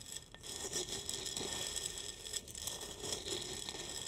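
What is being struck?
Glass jar holding roasted coffee beans, stirred with a wooden spoon.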